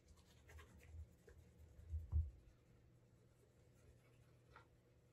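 A cloth wrapped over the fingers rubs the heel and toe of a brown leather Alden Straight Tip Blucher dress shoe to build a wax burnish. The quiet, muffled rubbing and faint scratching sit almost entirely in a low rumble, swelling briefly louder around the middle before fading back to a soft, steady hush.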